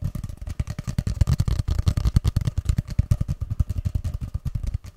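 Fingertips tap and drum rapidly along a long, hollow, empty grey cardboard paper tube, held first upright behind the microphone and then horizontally in front of it. About 38 quick, dull, hollow thuds follow one another with a low, boomy body near 82 Hz. Each tap dies away almost instantly.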